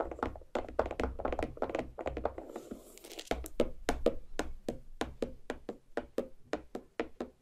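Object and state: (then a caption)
Watermelon half tapped with nails. Long black nail tips tap rapidly on the rind of a large, solid watermelon half. The result is a quick run of short, dull, hollow thunks with a mid pitch and almost no ring. A low rumble sits under the first few seconds.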